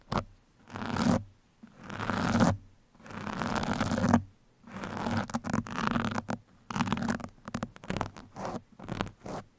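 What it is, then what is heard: Foam microphone windscreen. Two metal pins held in the fingertips scratch along a soft, porous black foam windscreen on a microphone. A few long, dry scratching sweeps with a low 230 Hz undertone give way to quicker, shorter strokes in a rustling pattern.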